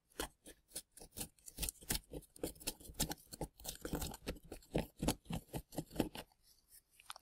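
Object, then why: Plaster excavation block. A gloved hand scrapes the crumbly plaster fill of an excavation block around plastic dinosaur bones with a small pointed scraping tool. About thirty short, quick, crunchy scratches follow in a steady rhythm, each a dry, gritty burst reaching into bright highs with almost no ring. The scraping is quiet and close, and it thins out at the end.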